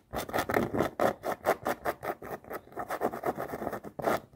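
Long nails scratch and tap along the rubber sole and canvas of a floral canvas sneaker. The result is a rapid, irregular run of short, dry scratching bursts with a midrange rasp and a bright edge.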